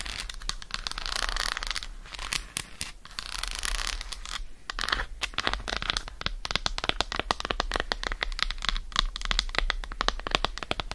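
Long acrylic nails tap rapidly across the squares of an unwrapped solid dark chocolate bar held in the hand. The taps are short, crisp, bright clicks with a dry, scratchy texture and almost no ring, running continuously over a low steady hum.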